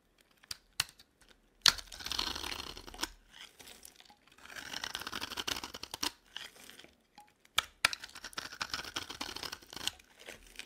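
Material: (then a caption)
Soap. The edge of an orange, palm-sized dry bar of solid soap is shaved and scraped with a metal utility knife blade. Bright, dry rasping strokes of crisp shaving come in bursts, punctuated by sharp clicks and short pauses, with almost no low end.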